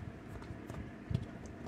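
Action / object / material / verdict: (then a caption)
knock / loaf of beer bread / bread / underbaked. After 40 minutes of baking, the top of a rustic beer bread loaf is thumped twice by hand to check whether it is done, giving soft, dull, low thuds with no ring. The loaf just gives when tapped, so it is judged still not baked through.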